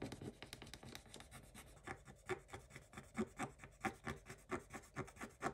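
A wooden stick rubs and scratches across the black coating of a scratch-art page in a spiral notebook. Quiet, dry, raspy strokes repeat in an uneven rhythm, starting as a continuous rub and then becoming more distinct back-and-forth scrapes with a bright, gritty edge.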